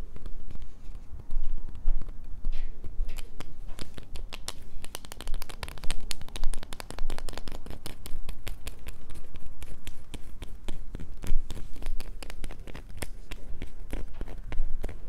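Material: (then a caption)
Soap. A small, solid, light-blue bar of soap is held in both hands and scratched with long painted nails over a paper towel. The sound is a dense run of dry, crackly scratches and sharp bright clicks over a constant low rumble, with no pauses through the clip.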